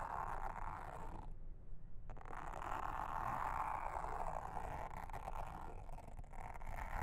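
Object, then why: Silicone honeycomb trivet mat. A hand with long red nails brushes and scratches a pink mascara spoolie brush across a round blue silicone trivet mat with a honeycomb texture, lying flat and solid on a table. The result is a steady, rough, raspy scratching with a low rumble underneath, centered in the mid range. It briefly quiets for a moment near the start before resuming.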